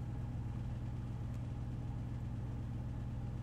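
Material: Nothing is struck.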